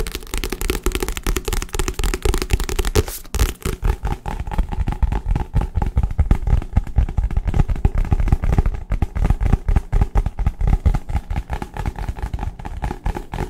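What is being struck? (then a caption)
Paper book. Fast, aggressive tapping on a book belonging to someone's girlfriend produces a dense, continuous stream of dull, low thuds. Each tap is short and dry, with almost no ring and very little high-frequency content.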